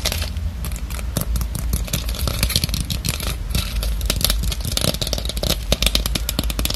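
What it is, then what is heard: Plastic decorative pumpkin. A small, hollow, orange plastic craft pumpkin with a stem and raffia is held up close and grasped, while long acrylic nails tap and scratch its ribbed surface. Dense, rapid, bright clicks and scratchy clatter run continuously over a steady low hum, each tap dying out almost instantly.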